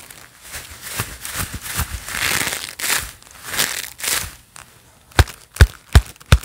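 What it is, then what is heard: Leather gloves clapped together. A pair of black leather gloves worn on both hands, soft and hollow, as the gloved palms and fingers clap and press together. Soft, creaky leather rubbing and muffled, swelling pats come first. The clip ends with four sharp, distinct claps that carry a low, hollow thump.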